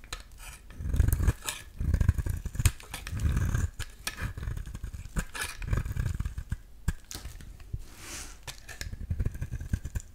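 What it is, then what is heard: Bar soap shaved with a blade. A metal utility-knife blade shaves a solid yellow bar of soap into thin flakes. The scraping comes in repeated low, rumbling strokes, each swelling and fading, with sharp dry clicks and faint bright crackles scattered between them.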